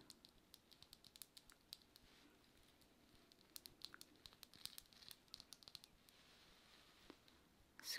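Long nails tap and click across the smooth face of a flat, polished, iridescent labradorite slab about the size of a palm, solid and held upright in both hands. An irregular run of dozens of quiet, sharp, bright clicks dies away almost instantly over faint hiss. A louder burst of bright noise comes at the very end.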